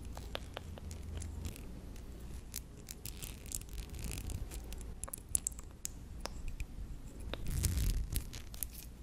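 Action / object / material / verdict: scrape / stainless steel wristwatch with metal mesh strap / stainless steel / none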